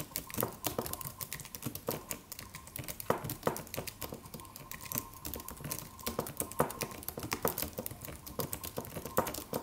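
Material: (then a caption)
Aluminum, plastic. Fingertips of both hands type on a slim silver aluminum computer keyboard with white plastic keys and a solid low-profile body. It makes a steady stream of short, dry, mid-pitched key clicks with occasional louder taps. Each tap dies away almost immediately.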